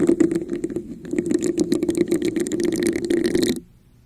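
A red, hollow, textured plastic cup is held over a microphone while long nails tap and scratch its sides. Quick taps and rasping scrapes blend into a hollow tone around 330 Hz with bright clicks above. The sound runs for about three and a half seconds, then stops abruptly into near silence.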